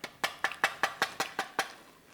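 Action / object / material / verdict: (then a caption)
tap / puffed rice cake / puffed rice / dry. Dry puffed rice cakes served as a hospital dessert are tapped nine times in a steady rhythm. Each tap is a short, hollow, papery knock with no low end, and the rice cakes sound dry and lifeless, like cardboard.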